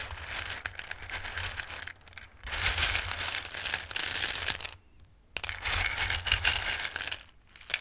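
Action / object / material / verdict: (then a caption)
shake / bowl of dry pasta shapes / dried pasta / none. Hands dig into and stir a full bowl of raw, dried Christmas pasta shapes, making bright, crisp clattering and rustling as the hard pieces shift against each other. The sound comes in dense bursts separated by brief pauses, including a near-silent gap about two-thirds of the way through.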